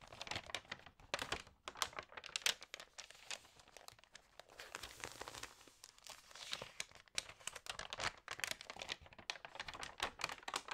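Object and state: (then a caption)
Glossy paper magazine. Long nails and fingertips rub, crinkle and turn the pages of an Allerhande glossy food magazine lying flat. Dense, bright paper crinkling and rustling come in quick, dry bursts with almost no low end, with a steadier swishing stretch midway as a page slides over.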